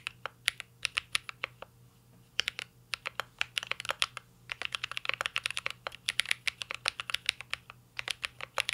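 Fingertips type continuously on a mint-green Cyberboard R3 mechanical keyboard with plastic keycaps and an aluminum case. Quick bursts of sharp, bright, clacky key taps have almost no low end and die away instantly. There is a brief pause near the two-second mark before the typing picks up again at a faster pace.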